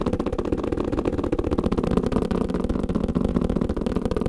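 Fingers tap quickly on a kalimba carrying case, making a steady, fast run of short, dry, low-to-mid thuds, about four per second. The taps are continuous and slightly uneven, with no ringing after each one.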